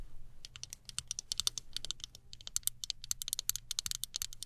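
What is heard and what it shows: A small chrome-look plastic hairbrush, held horizontally, has its handle tapped rapidly with long nails. The taps come as a quick, uneven stream of bright, crisp clicks that stop almost instantly, over a faint low hum.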